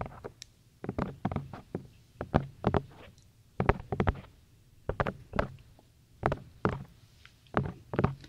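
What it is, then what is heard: Silicone ear of a binaural microphone. Fingertips of both hands tap and knock on the two soft, hollow white silicone ears of a black binaural microphone. The result is a series of short, dull, muffled thuds in irregular clusters with quiet gaps between them. The thuds are mostly low in pitch and die away almost instantly.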